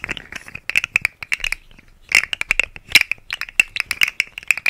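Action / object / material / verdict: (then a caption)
scrape / segmented plastic slug fidget toy / plastic / none. A rainbow, segmented, hollow plastic articulated slug fidget toy, about hand length, is held in both hands and flexed close to the microphone so its segments click and ratchet against each other. The clip is a rapid run of dry, bright clicks and rattling ratchets centered around 2.7 kHz, with almost no low end and very short decay. There is a brief lull in the middle before the clicking resumes.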